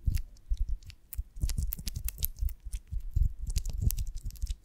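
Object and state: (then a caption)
Beeswax honeycomb, tapped and scratched. A beeswax honeycomb on a branch, held by its wooden stick in one hand, is tapped and scratched across its cells by the long nails of the other hand. Irregular soft taps with dull low thumps mix with bright, crisp clicks and scratchy rasps, each dying away almost at once.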